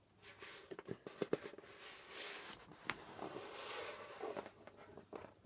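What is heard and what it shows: Fingertips tap and brush the pale skin head of a djembe drum. Quiet, dry taps with a short ring and a mid tone around 400 Hz alternate with soft, bright brushing swishes across the head.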